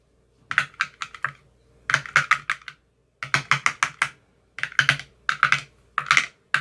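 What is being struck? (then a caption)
Plastic ice cube tray with silicone cup bottoms. A thin metal rod taps repeatedly inside the cells of an empty clear plastic ice cube tray with green silicone cell bottoms. The sharp, bright clicks come in quick bursts of several taps each, separated by short pauses. Each tap is dry and dies away almost instantly, centred around 1.6 kHz with very little low end.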